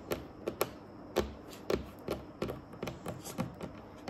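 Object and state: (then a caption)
Wooden tabletop tapped with fingernails. Long acrylic nails on both hands tap in a typing-like pattern on a large, solid, dark, glossy varnished wooden tabletop. Twelve short, dry clicks with a woody knock around the low-mid range fade almost instantly, spaced irregularly over about four seconds.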